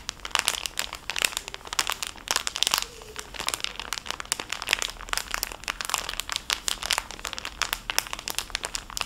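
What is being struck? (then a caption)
Clear cellophane bag holding a pouch of fabric wipes. A small, full, clear cellophane bag holding a fabric makeup wipes pouch is crinkled with fingertips and nails. Dense, bright crackles and sharp snaps run continuously, with almost no low end and each crackle cutting off instantly.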